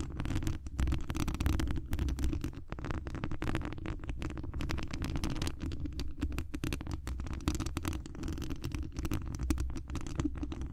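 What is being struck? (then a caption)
Metal mesh microphone grille. Long acrylic nails on both hands scratch the hollow mesh wire grille on the dome head of a large cylindrical condenser microphone. The result is a steady, dense run of scratchy taps and rubs for about eleven seconds, heard mostly as deep, boomy low-end rumble with only faint brightness on top.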